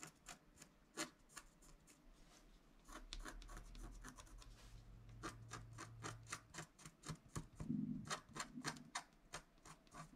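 A wooden stylus scratches near the top edge of a flat scratch-art card made of wax-coated paper. Short, dry scratching strokes come in a quick, uneven rhythm, each a brief bright rasp. A low steady rumble sits underneath through the middle of the clip.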